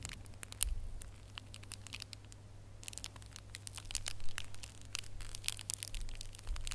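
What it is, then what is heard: Foil-wrapped gift box ornament. A small red holographic foil gift box ornament is held up in bare fingers while nails scratch and squeeze its foil. Quick, bright crinkles and crackling ticks come in dense bursts, quieter in the middle and busier toward the end, over a steady low hum.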